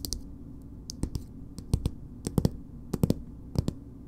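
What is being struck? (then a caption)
Plastic cosmetic squeeze tube. Long nails tap and scratch a filled green plastic BB cream squeeze tube with a purple cap. About fifteen short, dry clicking taps arrive in loose, uneven clusters over a faint steady hiss. Each tap has a soft low thud and dies away almost instantly.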